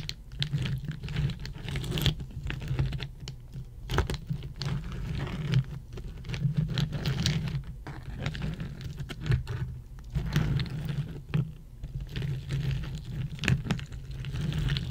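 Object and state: Ice cubes.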